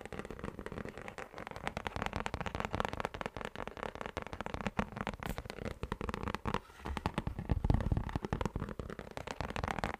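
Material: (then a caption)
Plastic. A round, thin orange plastic lid with a hollow underside is tapped and scratched with fingertips and nails. The result is a dense run of quick, dry crackling taps and scrapes that stop short with almost no ring, heavy in low thuds with little high brightness, and occasional louder knocks toward the end.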